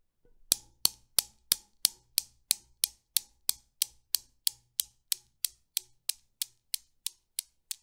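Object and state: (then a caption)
Steel Newton's cradle balls clicking. The chrome steel balls of a Newton's cradle are released by hand and swing, clicking against each other 23 times at a steady pace of about three per second. Each click is short, sharp and bright, with almost no low end, and the clicks grow slowly quieter as the swing dies down.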